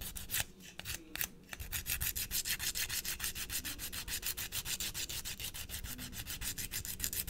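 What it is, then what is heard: Emery board filing a fingernail. A small flat blue emery nail file is rubbed back and forth across the tip of a short natural fingernail, held over a white plastic tray. It makes a bright, dry scratching rasp in rapid, steady strokes of about three per second, with a few sharper separate strokes near the start.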